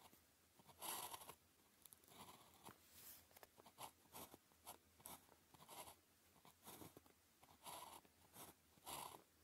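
A blue plastic ballpoint pen tip, held in the fingers, writes across a thin grid-printed calligraphy practice sheet lying flat on a desk. It produces continuous scratchy strokes in short bursts of bright, dry friction noise. Several louder strokes stand out along the way.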